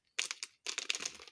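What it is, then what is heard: Dry areca nut. A dried areca nut is cut, giving two short bursts of crisp, bright crackling and crunching that sit almost entirely in the high frequencies. The clear, sharp sound marks the nut as dry.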